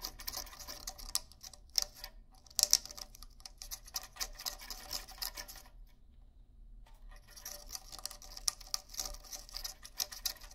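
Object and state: Rawhide bongo drums.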